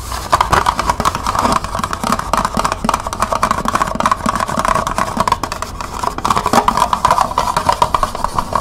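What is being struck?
Small plastic cup.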